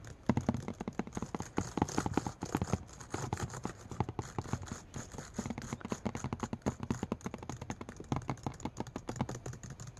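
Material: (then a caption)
Glass. Fingertips of one hand tap rapidly and repeatedly on a MacBook laptop display, a flat glass-covered screen showing a grid of video thumbnails. The result is a fast, irregular stream of short, dull, low-pitched taps that die away almost instantly, over a faint steady high hiss.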